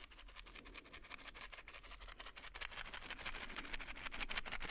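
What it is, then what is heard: Plastic and foil blister pack. A plastic and foil pill blister pack is held in one hand while fingernails tap and scratch its plastic bubbles and foil side. The result is a quick, fairly steady stream of crisp, bright ticks and scratchy crinkles, centered around 2.4 kHz, that grow slightly louder toward the end.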